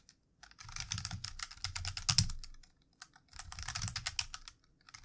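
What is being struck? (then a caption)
Plastic computer keyboard. Fingertips of both hands type on a plastic computer keyboard, with a lit mouse sitting nearby unused. Rapid, bright plastic key clicks with a soft low thud under each press come in two busy bursts, separated by a brief pause just before the third second.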